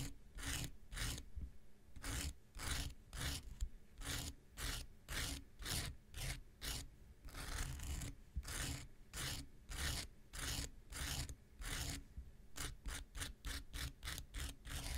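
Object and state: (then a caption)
Foam nail buffer block scratched with a knife tip. The tip of an X-Acto knife is scratched repeatedly across the top of a small, solid, rectangular pink foam nail buffer block with a gritty surface. Each stroke makes a short, bright, rasping scrape over a steady low hum. The strokes come in quick, uneven bursts, sometimes bunched close together and sometimes spaced apart.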